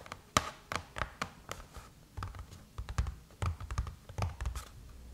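Long chrome-painted nails scratch and tap on the closed silver aluminum lid of a MacBook, making sharp, dry clicks with a metallic tinge and soft scraping in between. Each tap dies away almost at once over a low, muffled thump.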